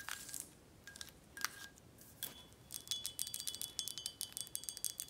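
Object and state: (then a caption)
Glass tequila bottle tapped. Long nails tap the foil-covered neck cap and the glass body of a full red glass Corralejo tequila bottle held in the hand. A few sparse, bright clicks with a brief glassy ring near 1.5 kHz give way to a rapid run of light, crisp taps over a steady, thin, high ringing tone.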